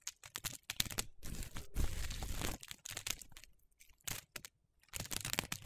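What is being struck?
Pile of soap shavings.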